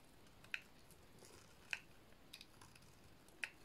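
A small remaining piece of a dry, painted red soap bar is held between fingers and shaved with a metal blade. Each cut makes a short, crisp scraping click, bright and centered around 2.5 kHz, that dies away almost instantly. The clicks come at uneven intervals over a quiet, faint background hiss.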